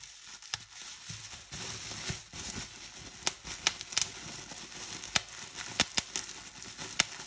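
Clear plastic bubble wrap is squeezed and crumpled in both hands, giving a steady bright crinkling rustle. Sharp, short pops break through as the hollow air cells burst.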